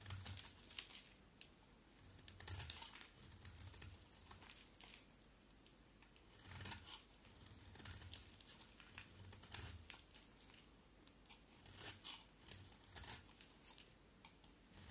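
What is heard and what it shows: A round, solid, red-striped bar of soap held in the hands is carved with a box cutter blade in repeated scraping strokes. The strokes come as quiet, bright, crinkly shaving bursts with a soft low thud under each one, separated by short pauses.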